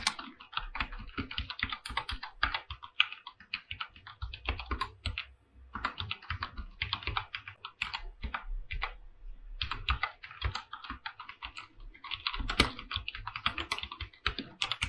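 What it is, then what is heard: Mechanical keyboard with plastic keycaps. Fingertips type continuously on a full-size mechanical keyboard with PBT plastic keycaps and an aluminum body resting on a pink desk mat. Rapid, bright, short clicks come in quick bursts with brief pauses, each keystroke carrying a low thud beneath the crisp clack.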